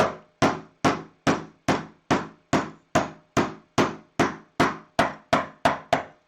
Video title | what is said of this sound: HummerFixes - H2 Windshield Wiper Motor Repair - Part 2 Procedure | just tap it home and you'll hear it hit the end there's an end stop you'll hear that